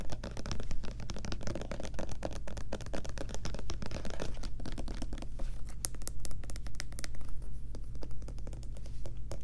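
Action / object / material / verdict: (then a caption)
scrape / plastic lotion bottle with pump cap / plastic / none. Long nails rapidly tap and scratch the front label of a medium white plastic Lubriderm lotion bottle with a pump cap, apparently full and held in the hands. A dense stream of short, dry clicks and scratchy rubs runs throughout over a steady low hum.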